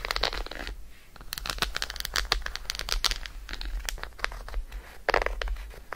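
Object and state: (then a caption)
Chocolate bar. Long acrylic nails tap and scratch rapidly on an unwrapped solid Roshen chocolate bar held in the hand. The result is a dense stream of sharp, dry clicks and crinkly scratching with almost no ring after each tap, over a steady low hum.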